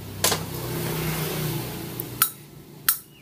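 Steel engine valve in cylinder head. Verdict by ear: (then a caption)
Loose. A steel engine valve is gently shaken in its guide in a Honda Wave / Dream motorcycle cylinder head, giving three sharp metallic clicks over a low hum. The valve is loose and needs replacing, though the valve face is also checked for pitting.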